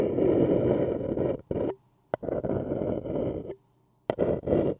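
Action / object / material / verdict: scrape / paper cup / paper / none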